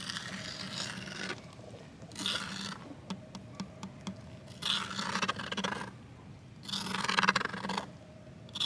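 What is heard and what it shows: A thin wooden twig scrapes and scratches across a flat green plastic box lid lying on the ground. Long, bright, hissy scraping strokes alternate with quieter pauses, and a run of short, sharp ticks sits in the middle of the clip.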